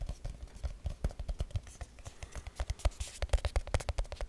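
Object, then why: Small aluminium tin can. A small, round, hollow silver aluminium tin can is held in the hand and tapped and scratched quickly with fingertips and nails. About thirty short, dull, low taps come in rapid succession, some with bright clicky edges and light scratching between them. Each tap dies away almost instantly with no ring.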